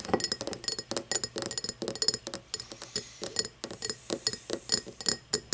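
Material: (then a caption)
Glass. Long painted nails tap and scratch the facets of an empty, hollow cut-crystal tumbler with a star pattern, lying on its side on a wooden table. About 29 quick, bright glassy clinks ring high and die almost at once, with faint scratching between the taps.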